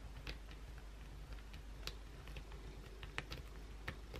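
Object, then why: Soap bar. Long, pointed blue acrylic nails scratch the face of a solid white oval bar of soap held in the hand. Quick, sharp, bright clicks and scrapes stand out over a steady low hum, with short, dry ticks that barely ring. The clip is quiet overall.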